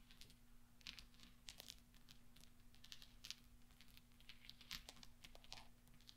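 A pile of small solid steel pachinko balls resting on black velvet is stirred and clinked by fingertips and nails. The result is a quiet, continuous stream of bright, sharp metallic clicks and crinkly rattles with no ringing tail, over a faint steady low hum.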